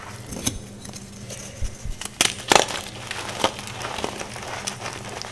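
Bare fingertips and long nails crush and crumble soft, solid green gym chalk blocks (magnesium carbonate) into powder on a white surface, while nearby chalk discs stay untouched. Dry, bright crunches and sharp crackling snaps stand out over a quiet, gritty rustle. The chalk breaks down into powder.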